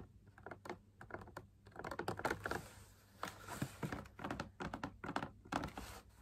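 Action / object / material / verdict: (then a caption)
tap / fabric-laminated drum lamp shade / laminated fabric / none. Fingertips and nails tap rapidly and irregularly on the inside wall of a hollow, perforated drum lamp shade made of fabric laminated onto a stiff backing. The taps are soft, dull and short, with little ring, and come in quick bursts and clusters. A faint low hum runs steadily underneath.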